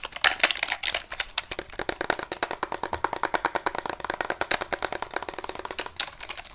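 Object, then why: Wooden calculator with wooden keys. Fingertips tap the wooden keys and casing of a small, solid handheld calculator with a light wood body, likely bamboo, held up beside the microphone. They produce a rapid, typing-like run of dozens of short, dry, bright clicks with almost no low end. Each click dies away almost at once.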